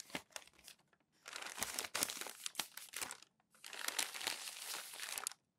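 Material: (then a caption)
Paper. Hands press and rub crumpled glossy magazine pages flat on a growing stack and turn the sheets over. Sparse, sharp crackles open the clip, followed by two long stretches of dense, bright crinkling and rustling with sudden crunchy spikes and short quiet gaps between them.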